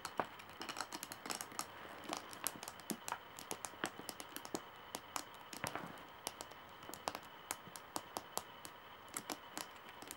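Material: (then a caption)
Wood. Long nails tap on the curved solid wooden handle of a straw bag, making quick, dry, bright clicks in an irregular run. Each tap is short with almost no ring, set against a faint steady hiss.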